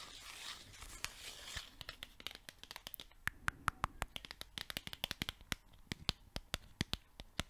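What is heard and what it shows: Long nails scratch and flick the edges of a small yellow paper sticky note pad. A rough, papery scratching opens the clip, then gives way to a quick run of dozens of sharp, dry, bright clicks as the edges are flicked, each snapping off instantly.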